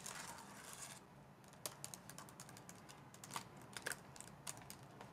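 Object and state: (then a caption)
Plastic laptop keyboard being typed on. Long dark nails type on the black keys of a white plastic laptop base with a touchpad. A soft, brief rustle opens the clip, followed by quiet, irregular bright clicks and taps, each dying out almost instantly.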